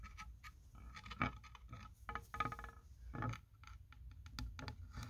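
Fingertips and nails scratch and tap along the grain and seams of a solid wooden sign made of vertical plank strips with printed lettering and a paw-heart cutout, hanging on a wall. Quiet, irregular scraping mixes with soft, dull taps that die away almost at once, with a low, woody body and a little brighter scratch on top.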